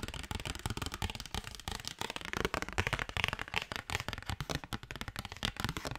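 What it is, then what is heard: Paper postcard. A thin cardstock paper postcard is tapped and scratched with fingernails in a fast, continuous run. Dry, crisp taps with a soft low thump mix with bright papery scratching and crackle. Each tap stops almost instantly with no ring.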